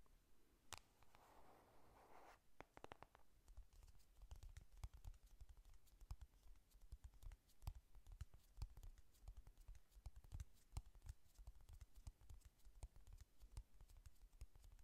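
Long nails tap and scratch the closed printed cardboard cover of a flat pink "Honey Lust" eyeshadow palette. A brief soft scratching rustle opens the clip, followed by a steady run of quick, dull, low taps with short bright clicks. The sound is quiet and close, with no ring after each hit.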